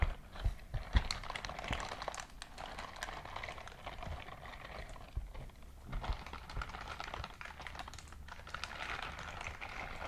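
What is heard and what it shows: A white silicone dishwashing scrub glove is squeezed in a clenched fist, its bristles rubbed together up close. Continuous soft crinkling and squelchy rubbing fills the clip, full of quick tiny clicks and ticks over a low, muffled rumble, with a few sharper snaps near the start.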